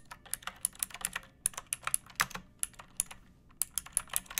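Fingertips and long nails type on a second pink plastic mechanical keyboard with rounded keycaps, a metal top strip and a hollow case. About 25 quick, bright, clicky keystrokes come in uneven bursts. Each one is short and sharp, with almost no ring and little low end.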